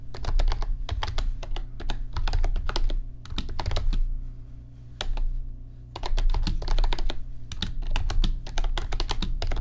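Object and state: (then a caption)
Plastic computer keyboard being typed on. Fingertips type on an RGB backlit computer keyboard with plastic keys, giving quick runs of light clicky taps with bright, sharp tops. A steady low hum sits underneath, and the typing briefly pauses a little past the midpoint before the bursts pick up again.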